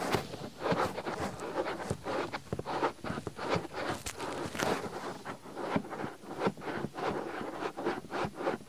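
Fingertips quickly rub and scratch the surface of a soft white silicone ear on a binaural microphone. The result is a steady stream of close, muffled scraping and rustling bursts centered in the low-mid range, with brief sharper scratches flicking up into the highs.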